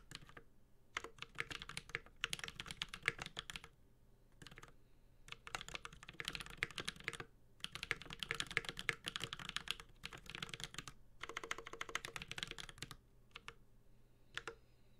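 A Space65 Cybervoyager 65% mechanical keyboard with a metal case, carbon fiber plate, Holy Panda switches and ABS keycaps is typed on with the fingertips of both hands. Bursts of quick, bright key taps with a sharp, short clack are broken up by brief pauses, with a faint low hum underneath.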